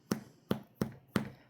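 Four taps on the tops of two sandwich bread loaves, baked about 25 minutes at 350, to check doneness. Each tap is a short, dull, low thump with a hollow tone and almost no ring. The loaves sound hollow, meaning they are baked through and ready.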